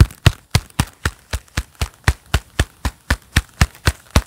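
A pair of black leather gloves worn on both hands clap and rub together close to the microphone. About 17 soft, muffled claps come at a steady pace of roughly four per second. Each is a short, low thud with a faint bright leathery edge that dies away almost instantly, separated by quiet gaps.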